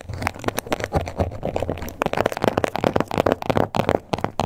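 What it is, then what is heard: Croc-embossed leather wallet. Long acrylic nails with black tips scratch and tap across the raised scales of a small, flat pink wallet or card holder in crocodile-embossed leather, possibly faux, with stitched edges, lying on a table. A quick, irregular run of dry, crackly scrapes and short, clicky taps follows, each one stopping almost instantly. The sound is centred in the mids with little bright edge.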